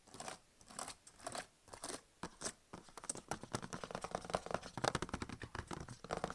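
Fingertips rub and tap the touchpad and palm rest of a medium-size, solid, blue HP plastic laptop lying on fabric, then type on its plastic keys, with an earphone mic nearby but untouched. Soft, separate swishing rubs come first, followed by a quiet, rapid run of dry, clicky key taps with short decays.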